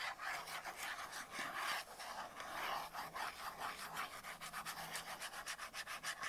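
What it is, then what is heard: Cardboard soap box. Long acrylic nails rub and scratch the surface of a small, closed, printed cardboard soap box held in the hands, with a soap bar inside. It makes a dry, papery, bright scratching with almost no low end. The sound starts as a steady rub, then breaks into quicker, rhythmic strokes toward the end.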